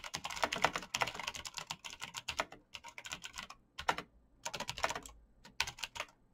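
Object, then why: Plastic mechanical keyboard. Fingertips type quickly on a black plastic mechanical keyboard with clicky switches, producing bursts of sharp, bright key clicks with very short decay. The typing comes in fast runs, about 35 keystrokes in all, broken by brief pauses near 3.7 and 5.3 seconds, with a main tone around 900 Hz and almost no low end.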